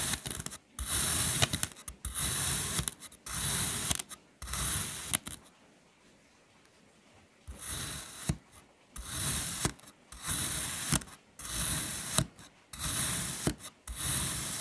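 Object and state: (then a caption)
Kinetic sand shape being cut. A metal knife makes diagonal slicing and pressing cuts into a solid, flat, hand-sized bright green kinetic sand mango mold. Bursts of soft, crisp crunching and scraping repeat with short pauses and a longer quiet gap near the middle, with sharp clicks as the blade presses through.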